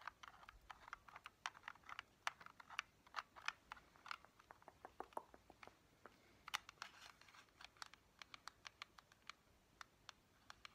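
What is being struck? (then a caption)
Hard plastic steering wheel accessory. Long painted fingernails tap and scratch a small, hollow, black hard-plastic Joy-Con steering wheel accessory held in both hands. The result is a quick, uneven stream of sharp, dry clicks with bright scratchy edges, centered around 1.3 kHz with almost no low end. Each click dies away instantly over a faint, quiet background.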